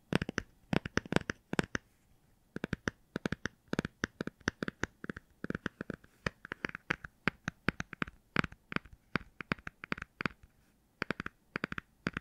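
A hardcover children's book with a cardboard cover, possibly a Star Wars book, is tapped in quick, uneven bursts. The taps are short, dry, and woody, with little ring and a few brief pauses between runs. The book gives a clean, pleasant tapping sound.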